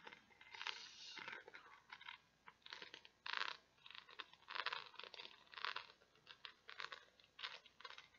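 Long nails scratch and tap across the pegs of a small, round, flat, solid green plastic peg board with a grid of pegs. The result is a series of dry, crunchy, brittle scraping bursts with quick clicks between them, bright in the upper mids and treble with no low end. The sound is quiet and close, with each burst stopping almost at once.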